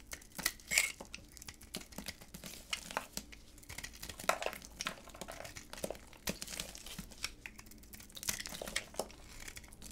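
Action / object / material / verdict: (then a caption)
scrape / hard bar of soap cut with a blade / soap / none. A solid white hard bar of soap, held in black-gloved hands, is shaved with a utility knife blade. It gives a quiet, steady run of crisp, bright scraping and cutting strokes, each one short and dry with almost no ring, over a faint low background hum.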